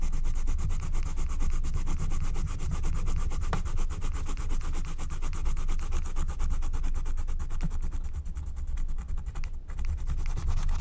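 A wooden stylus scratches back and forth across the coloured area of a flat, thin, black-coated scratch-art card made of wax-coated paper. The result is a steady, dense, gritty rubbing texture with rapid strokes running together, heavy in low rumble with faint bright scratchy detail, holding an even level throughout.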